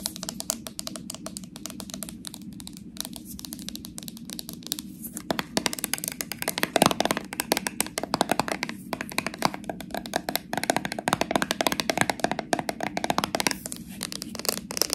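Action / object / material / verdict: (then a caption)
tap / metal screw lid on a plastic jar / metal / none. Long acrylic nails rapidly tap and scratch the flat silver metal screw lid and its rim on a small, full plastic slime jar held sideways. The result is a dense, continuous stream of short, dry, bright clicks and scrapes with a low, steady hum underneath.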